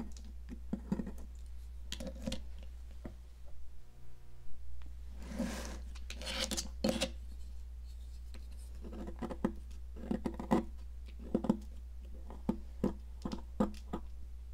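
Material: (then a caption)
Chalk. A metal palette knife scratches and scrapes a large solid blue popsicle-shaped stick of sidewalk chalk, held by a hand with long decorated nails over a plastic mat, as blue crumbs build up. Short, dry scraping strokes and clicks repeat over a steady low hum, with a few longer rasping scrapes in the middle.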